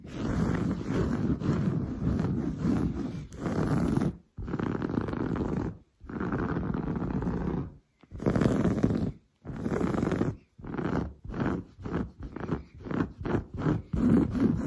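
Long blue nails scratch fast and aggressively across grey-brown textured woven sofa fabric, which is padded. The result is a dense, low, rasping scrape in long continuous bursts separated by brief silences. Toward the end it breaks into shorter, quicker strokes.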